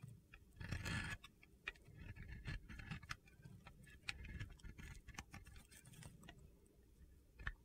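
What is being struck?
Bar of soap shaved with a metal blade.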